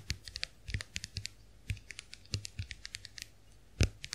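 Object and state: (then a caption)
Plastic compact mirror, tapped with nails. Long acrylic nails tap the dotted plastic backs of a small round white plastic clamshell hand mirror held open. The result is a quick, irregular run of light, dry clicks with bright high ticks over a soft low thump. One heavier tap stands out near the end.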